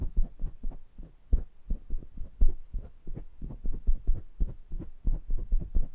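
Fingertips tap and rub the wire-mesh grille faces and rims of a small pair of metal condenser microphones. The result is a rapid, uneven series of dull, boomy low thumps with short decays and a faint low hum between them, and no bright content.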